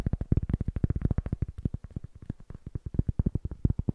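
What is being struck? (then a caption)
Cork block. Fingertips rapidly tap the face of a small rectangular cork block, which looks solid and is held upright in both hands. About 31 quick, dull, low thuds sound in a steady, uneven patter. Each is very short with no ring and almost no bright content.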